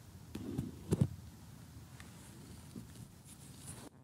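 Short glitter-polished fingernails tap, close up, on an assembled glossy cardboard jigsaw puzzle of colorful houses lying flat, with thin solid pieces. A few quiet, dull, low taps sound, with the two closest together near the one-second mark the loudest. Each tap dies away almost at once into a soft background hush.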